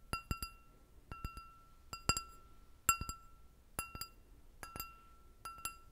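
An empty clear glass goblet with a short stem is tapped with long red nails, producing quick clinks in small groups of two or three. Each tap gives a short, bright ring centered around 1.3 kHz with high overtones.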